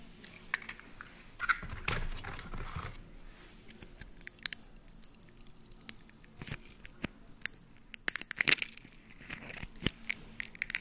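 An empty, hollow, broken brown hen's eggshell is held in the fingers close to the mic while fingertips and nails crunch it and peel off small shell fragments. Sharp, bright crackles and tiny snaps come in irregular bursts, with a longer crumbling crunch early on and quiet pauses between. The shell splinters into small pieces with a dry, brittle texture.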